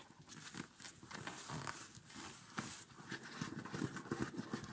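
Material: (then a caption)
Nylon. Fingertips and nails scratch and rub the quilted nylon upper and the cord top of a small, empty children's winter snow boot. The result is soft, dry rustling and scraping in quick, uneven strokes, with brief brighter scratches over a low, papery hiss.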